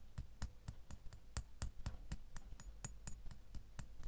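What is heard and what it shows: A fingernail taps the bow of a small, solid metal door key lying in an open palm, about 17 times at a steady pace. Each tap is a short, crisp click with a bright metallic tick on top and a soft low thump underneath, dying away almost at once.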